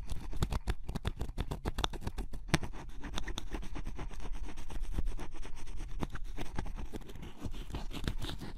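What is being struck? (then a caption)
Coated cardboard puzzle piece scraped with a wooden stylus. A wooden stylus tip scratches the black coating off a yellow-blue spot on a scratch-off cardboard jigsaw puzzle piece. Close-up, it makes a steady run of short, dry scraping strokes with brief clicky ticks.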